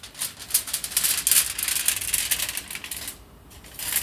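Fingertips and nails scratch and crinkle a loose sheet unrolled from the same aluminium foil roll as it is handled. A dense, bright, irregular rustling crackle sits almost entirely in the high range with hardly any low end. It eases to a quiet hush for a moment near the end before the crinkling picks up again.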